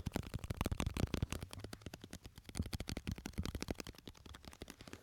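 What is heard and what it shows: A small glass jar full of red and yellow candies is held between the mics and tapped rapidly with the fingertips of the other hand. The result is a fast, uneven stream of soft, dull, low-heavy taps with brief bright clicks that stop almost instantly.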